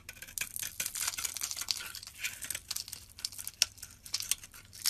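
A metal utility blade scrapes the surface of a rectangular solid green bar soap held in the palm, shaving it into powder and curls. The scraping is a quiet, dry, bright crackle, with almost no low end, and it is punctuated by a few sharper, louder snaps as the shavings break away.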